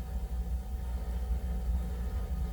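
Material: Nothing is struck.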